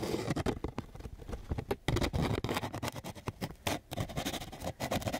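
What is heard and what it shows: A flat sheet of coarse sandpaper is scratched with quick strokes of a flat wooden stick. It makes a rapid series of short, gritty rasps that are dense in the low range and taper into a bright hiss. Each stroke dies away almost at once.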